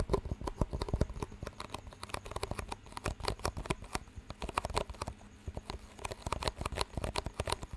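Fingertips tap two identical clear disposable plastic cups with green rims, hollow and empty, and knock their rims together close to the mic. The result is a rapid, irregular patter of short, dry clicks and knocks that die away almost instantly, with a soft, low-weighted body beneath them.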